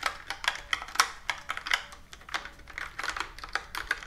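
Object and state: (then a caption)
Plastic computer keyboard. Fingertips and long nails type and tap on a full-size plastic computer keyboard with round plastic keys, resting on a wooden table. About nineteen quick, dry clicks and taps land at an uneven pace, with bright, crisp tops centered around 1.3 kHz and almost no low end. Each click stops short with no ring.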